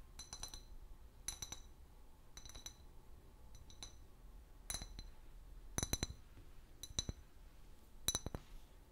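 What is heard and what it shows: Long nails tap the long neck and body of an empty, hollow clear glass bottle with a paper label. The result is short, bright clinks in irregular clusters, each with a brief high ring that fades quickly.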